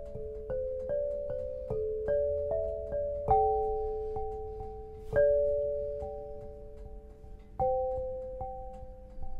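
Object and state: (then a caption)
Black granite lithophone. An 8-bar lithophone of solid black granite slabs tuned to 432 Hz, resting on a low frame, is struck with two soft-headed mallets with red and green balls on wooden sticks to tap out a melody. Clear, mellow pitched tones in the mid range ring out and overlap, with a few harder strikes standing out above the rest. Each note decays slowly into a sustained, bell-like wash.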